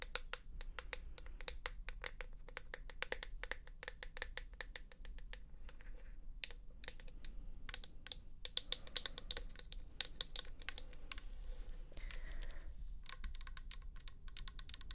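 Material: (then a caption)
Plastic. Long nails tap rapidly on the plastic flip cap of a pink plastic toner bottle with liquid inside, then move on to tapping the side of the bottle. The taps are quick, dry, bright clicks that stop almost instantly. They sit over a steady low background hum, and the tone of the taps changes a little once the nails move from the cap to the bottle.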